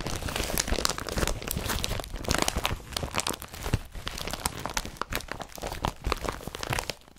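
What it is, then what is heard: Woven polypropylene carrier bag. Hands crumple and squeeze an empty blue woven polypropylene IKEA BRATTBY carrier bag with yellow straps. Dense, crunchy crinkling and rustling comes in irregular bursts for about seven seconds, broadband from low thumps up to bright, crackly highs, with each crackle stopping dead and no ring.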